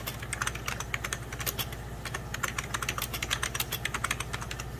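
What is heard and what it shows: Fingertips and short nails type rapidly on a full-size 90s Packard Bell keyboard with beige plastic keys over a hollow plastic case. The result is a dense, uneven stream of short, bright plastic clicks and taps that die away almost instantly, over a steady low hum.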